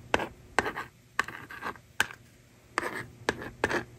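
A plastic stylus writes on a hand-held plastic magnetic drawing board, and the screen is erased with the slider. Seven short bursts of rasping scratch are heard, each starting with a sharp attack and trailing into a bright, dry scrape. Quiet pauses separate them.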